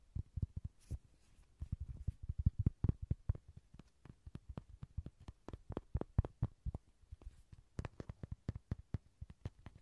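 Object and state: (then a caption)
Inflatable vinyl toy. Dozens of quick taps land on a cute Rody toy, an inflatable vinyl ride-on horse. Each tap gives a soft, dull, low thump that dies away almost instantly, in an uneven, steady rhythm with brief pauses.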